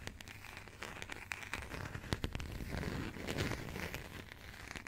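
Long nails scratch and tap the embossed cover of a burgundy passport with a coated cardboard cover, held in the hands. A quiet, dense crinkly scratching runs throughout, broken by sharp, dry taps that stop at once, over a low rumble.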